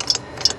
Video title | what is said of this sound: #523 how to fix a techumseh mower part 2 [Davidsfarm] | this one sounds dry now